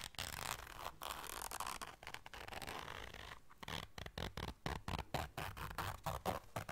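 A small round black fabric zipper case is held in the hands while long dark nails zip and scratch at it. A continuous, bright rasping zip runs through the first half, then breaks into a quick, uneven run of short scratchy strokes, each dying away almost at once.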